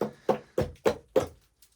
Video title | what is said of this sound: We Found a Sealed Gold Mine In Vermont - did they leave any behind? #goldmines | It's like hollow sounding as you're tapping.